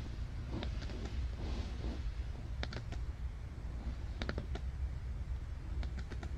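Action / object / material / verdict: tap / cardboard board book page / cardboard / none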